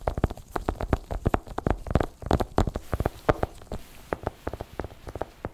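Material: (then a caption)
Cardboard. A small, long, closed white cardboard Apple Pencil box, hollow and likely still in its clear plastic shrink wrap, lies flat on a fluffy white blanket and is tapped rapidly with the fingertips of black nitrile-gloved hands. Dozens of quick, dull, low, hollow taps come in uneven bursts. Each tap dies away almost at once.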